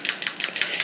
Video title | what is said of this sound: Checking Compression On The 2JZGE Lexus GS300 | if you shake it you can hear the valve opening and closing